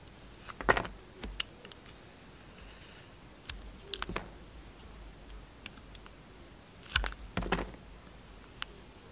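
A utility knife shaves layers off a solid red and pink Camay soap bar, giving short, crisp scraping and clicking cuts. They come in small clusters, near 0.7, 1.3, 4.0, 7.0 and 7.5 seconds, with quiet hiss in between and bright edges on each cut.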